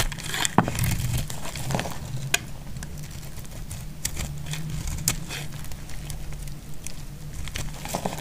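A knife blade cuts and scrapes flakes from a solid, dry green soap bar held in the hand. Dry, crisp crackling and crinkling scrapes come in an uneven rhythm, with sharp bright snaps standing out, over a steady low hum.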